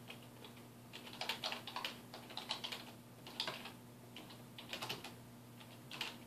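Fingertips type on a dark plastic desktop keyboard resting on a wooden desk, producing bursts of quick, bright plastic key clicks in uneven runs with short pauses between them. A faint steady low hum sits underneath throughout.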